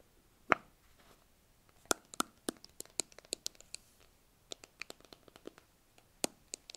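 Fingers and nails tap and scratch the labelled sides and blue plastic lid of a small, hollow white plastic tub held in both hands. About 19 short, dry, bright clicks and scrapes come at an uneven pace, with almost no low end and no ringing. A faint scratchy rustle fills the gaps between them.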